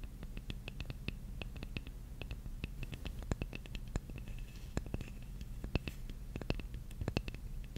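Long nails quickly scratch the face of a large, flat, solid wooden jigsaw puzzle piece, making a dense run of sharp, dry clicks and ticks with a bright edge around 2–3 kHz. A steady low rumble sits underneath, and the ticks cut off instantly with no ring.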